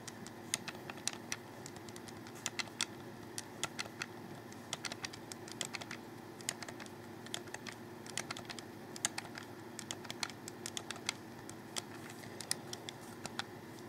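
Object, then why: Plastic game controller. Fingertips press the guide button and thumbstick of a hollow black plastic Xbox 360 controller, producing dozens of quick, dry clicks spread unevenly over about fourteen seconds. Each click is sharp, bright and dies away almost instantly over a quiet, steady background hiss.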